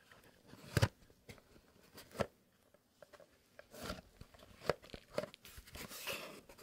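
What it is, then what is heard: Cardboard box. A small, long, hollow kraft cardboard "Fox" box is tapped with fingertips and nails, first while resting on a mat and then while held. Soft, dull taps and sharp, clicky nail strikes come in an irregular rhythm, with brief scratchy, crinkly stretches between them. Each tap dies away almost at once, leaving a quiet gap before the next.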